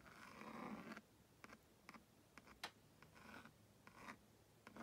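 A purple plastic stylus scratches across a plastic Magna Doodle magnetic drawing board with a honeycomb screen, drawing stick figures next to a house. A long, rasping stroke of about a second is followed by a series of short, dry scratches with quiet gaps between them, each one brief and bright.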